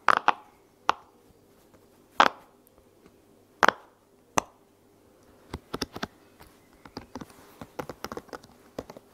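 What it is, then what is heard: Silicone pop-it toy being popped. A heart-shaped silicone bubble pop toy is popped while resting on a blanket, then held and popped by hand with long nails. First come a few spaced, hollow pops that ring briefly around the midrange. These give way to a quicker run of quieter, sharper clicks and taps.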